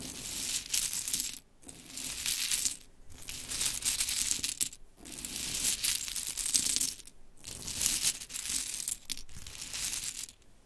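Hands with long chrome nails scoop a pile of pink wooden mini clothespins resting on glitter fabric, then the nails scratch and rake through it. The result is a dense, bright clattering and rattling, heavy in the high end with little low sound, arriving in several bursts separated by brief pauses.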